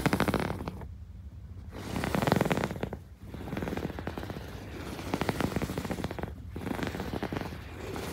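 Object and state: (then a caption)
Quilted fabric pillow. Fingertips and long nails scratch and rub across the ribbed surface of a soft, padded, medium-sized teal quilted fabric pillow lying on a white bed sheet. Bursts of rapid, dry, scratchy ticking and rustling strokes come and go, with brief quieter gaps in between. The sound is muffled and mostly low to mid in tone, with little bright edge.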